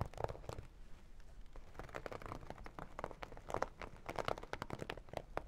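Long dark nails tap and scratch the glossy surface of a small zippered holographic vinyl makeup bag. The result is a quiet, dry series of crinkly clicks and scrapes centered in the mid range, with short bursts and almost no ring.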